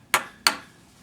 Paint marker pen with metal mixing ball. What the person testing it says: you hear nothing nothing it's dried out